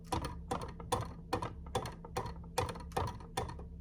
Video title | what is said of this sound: Battles Of The Threads: Wool Genie Vs Knock Off - Review With A Twist | ça ressemble à une chambre de motel bon marché et tu as des voisins bruyants